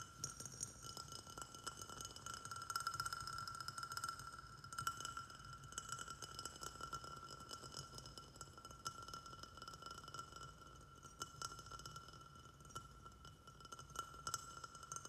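Fingertips and nails tap rapidly on the walls of a small white glazed ceramic pot with a saucer, filled with soil and a snake plant. The quiet, uneven stream of quick, bright clinks and ticks sits over a steady ringing tone around 1.4 kHz, with each tap dying away almost at once.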